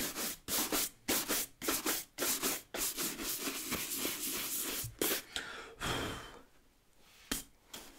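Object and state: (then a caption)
Leather work boot being brushed. A wooden-backed bristle brush scrubs a hollow brown leather ankle work boot with a thick rubber lug sole, held in one hand, working over both the sole and the upper. Quick back-and-forth strokes make a bright, hissing scratchy rasp. The strokes run in a steady rhythm, then trail off into a few softer, scattered brushes.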